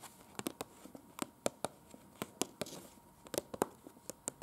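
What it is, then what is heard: Paper leaflet tapped with long nails. Long pointed acrylic nails on both hands tap and scratch an open printed paper museum brochure with floor plans and small pictures, lying flat. About fifteen sharp, dry clicks land at an uneven pace, with soft papery scratching and faint crinkling between them.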